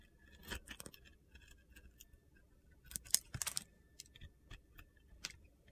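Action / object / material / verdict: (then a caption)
scrape / glitter-coated bar soap cut with a metal blade / soap / none. A metal utility knife blade carves and shaves crunchy pieces off a palm-sized, solid blue glitter bar soap that is white inside and held in the hand. The sound is quiet, crisp, high-pitched crunching and scraping that comes in short, sharp bursts with no ring, growing louder in the middle of the clip.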